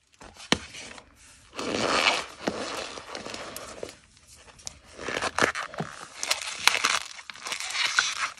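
Both hands, with red-painted nails, crush and squeeze several white, solid, powdery gym chalk blocks (magnesium carbonate) with fingers and palms in a large black bowl full of loose chalk powder. Bright, dry crunching and crinkling rise in bursts with sharp snaps and scraping. The blocks break into crumbling, squeaky powder.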